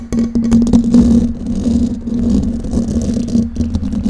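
Long painted nails on both hands scratch and tap the hollow, domed metal mesh grille of a silver condenser microphone. A close, continuous scratchy rustle is dotted with quick clicking taps over a steady low hum. The level stays fairly even throughout.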